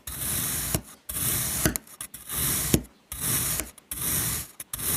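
A metal knife cuts crosshatch slices through a solid, flat, dark blue kinetic sand mango shape, pressing and scraping through the sand. It makes a series of long, gritty, hissing scrape strokes separated by short pauses, with a sharp tick or click at the end of several strokes. The hiss is bright over a soft low rumble.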